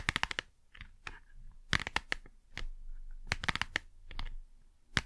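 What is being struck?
Small cardboard box.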